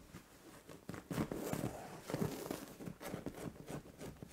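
Long orange-painted nails scratch and rub across a soft, padded white cotton-like fabric duvet or pillow on a bed. The result is quiet, muffled rustling and scratching strokes that rise and fall in short bursts with a dull, low-weighted texture.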